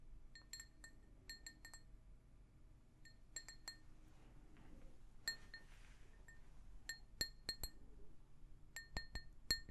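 A hollow, empty pink glazed ceramic mug is tapped with long nails, giving a series of quick, bright clinks with a high ring. Each tap fades almost at once, some in fast clusters, over a faint low rumble.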